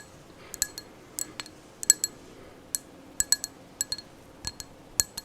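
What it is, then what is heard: Glass candle jar. A glass candle jar is tapped about eighteen times at an uneven pace, each tap a short, bright clink with a high ringing tone. The taps fade almost instantly between hits over a quiet background.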